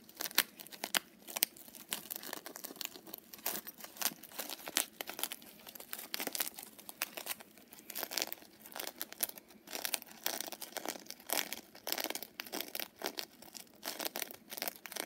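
Long fingernails and fingertips scratch and rub the sequin surface of a small pink fox-face coin purse made of sequined fabric, held up close. Rapid, dense bursts of crisp, bright crinkling and rustling ticks overlap continuously, with no low end and very little ring between strokes.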